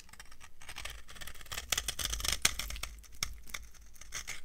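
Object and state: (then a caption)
Dry soap bar shaved with a knife. A solid, dry yellow soap bar is shaved into flakes with a metal knife, giving a quick run of crisp, crunchy scraping strokes. The sound is bright with short dry crackles, over a steady low hum.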